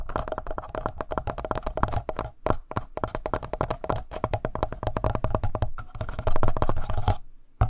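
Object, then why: Plastic handheld audio recorder. Fingertips tap rapidly on the front panel of a black plastic Tascam handheld audio recorder with a hollow body. The result is a dense run of short, dry, hollow-sounding taps with a deep thumpy low end and quick decay. The taps are broken by a few brief pauses.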